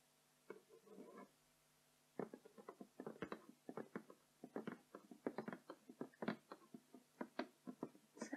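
Both hands tap and scratch with fingertips and nails on the glossy printed front of a closed, flat cardboard box for a My Little Pony glitter-picture kit, lying on a wooden floor, hollow with its contents inside. After a brief soft scratch and a pause of about a second, quick dry taps and scrapes follow in an irregular patter to the end. The hits are quiet, short and hollow-sounding, with a low-mid body.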